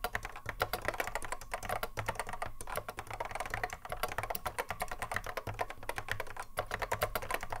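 Fingertips of both hands touch-type continuously on a cream Apple M0110A keyboard, with a hollow plastic case and Alps SKCC mechanical switches, resting on a wooden desk. A rapid, steady stream of short, sharp clicks with mid-pitched clack and bright tips sits over a low hollow thump, each keystroke dying away almost instantly.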